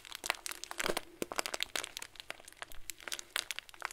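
A clear plastic bag full of tiny white foam beads is squeezed and crinkled with both hands. It gives off a dense stream of sharp, bright crinkles and crackles centered around 2 kHz. The crunching comes in quick bursts, and each snap dies away almost instantly.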